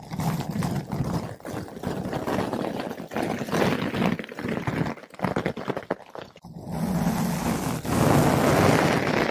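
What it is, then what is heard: Foam microphone windscreen being brushed. A flat paintbrush with blue synthetic bristles brushes a large, soft, porous yellow-pink foam ball windscreen fitted over a microphone. The result is a steady, rough, scratchy rustle with a muffled low-end weight. It briefly drops out around five to six and a half seconds, then returns denser and louder toward the end.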